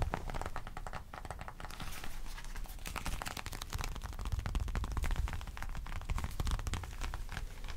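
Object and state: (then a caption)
Leather wallet. A small black folded leather wallet is held up and turned in the hands while fingertips and nails tap and scratch its surface. The result is a steady run of quick, dry crackling taps and scratchy crinkles over a soft low rumble, with no ring after each touch.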